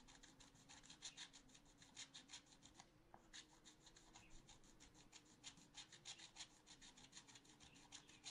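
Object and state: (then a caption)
Scratch art paper being scratched. A wooden stylus scratches rapidly back and forth across the coating of a black-coated scratch art paper sheet in a small spiral notebook. The result is a dry, bright, raspy scraping in quick strokes of about three per second, with a short pause near the three-second mark before the strokes resume.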